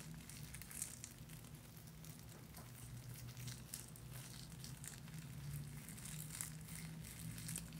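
Fingertips press and crinkle a small black cloth drawstring bag holding a soap bar. The result is a quiet, continuous crinkling and rustling with scattered bright crackles over a steady low hum.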